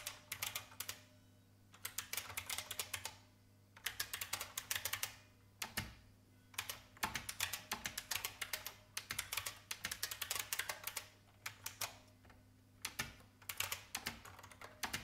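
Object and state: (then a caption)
Plastic mechanical keyboard. Long painted fingernails tap the keys of an old, full-size beige IBM plastic mechanical keyboard with a hollow case. The result is bursts of quick, bright, clacky typing separated by short pauses, each keystroke crisp and dying away almost at once.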